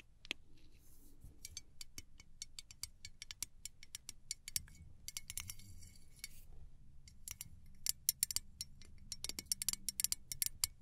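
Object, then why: Small aluminum spray bottle with plastic cap. A small gold aluminum cylindrical travel spray bottle with a clear plastic cap is held in both hands and tapped and scratched with long acrylic nails. Quick, bright metallic clicks and taps come in irregular runs with very short ring, mixed with thin scratchy rustles against a faint low hum.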